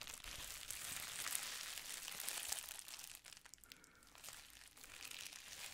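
Clear plastic bubble wrap is squeezed and rubbed between the fingers, then held up close. It makes dense, bright crinkling and crackling, busiest and loudest in the first half, then it thins to quieter, sparser rustles before picking up slightly at the end.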